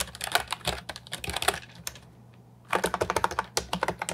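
Fingertips type on an Ajazz 308I, a compact hollow plastic keyboard with round typewriter-style retro keycaps, producing rapid, clacky keystrokes with short, bright attacks. A burst of typing runs for about a second and a half, trails off into a near-silent pause, then resumes just as briskly to the end.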